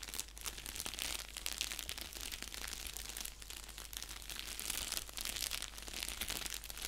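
Fingertips and nails scratch and press the bubble-padded surface of a flat, empty-looking orange padded mailer envelope resting on a blanket. The result is a steady stream of bright, crisp crinkling and scratchy rustling, dense with quick little crackles and very little low end.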